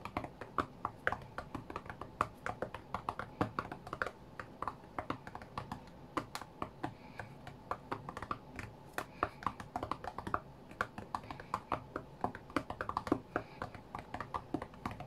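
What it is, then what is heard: IPad glass touchscreen being tapped. Fingertips from both hands tap quickly on the glass touchscreen of a white iPad lying flat on a mat while playing a rhythm game. The taps are soft, dry and clicky with almost no ring, coming in rapid, uneven rhythmic bursts over a quiet, steady background hiss.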